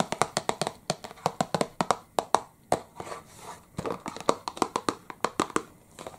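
A small, hollow printed cardboard licorice pipe box is held up in one hand and tapped with the fingertips of the other, giving about 31 quick, dry, hollow taps with a midrange knock and almost no ring. A brief softer, rustly pause falls partway through, and the box is turned to show its side at the end.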